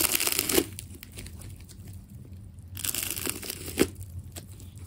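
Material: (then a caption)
Plastic tape. A small metal blade cuts and peels the layers of a fist-sized solid ball of wound white and red plastic tape held in one hand. Bright, dry tearing and crinkling come in bursts, with two sharp snaps standing out. Quiet low rustling fills the pauses.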